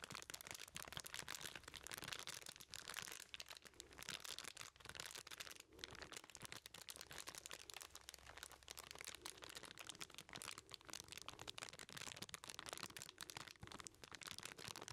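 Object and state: Foil-wrapped package being crinkled.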